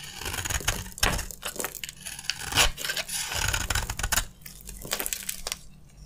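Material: Soap.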